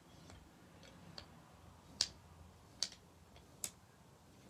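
Fingers push groups of painted solid wooden beads along the metal rods of a wooden abacus, so the beads knock together. Five short, dry, bright clicks land at uneven intervals, the last four sharper than the first, over a faint quiet background. Each click dies away almost instantly.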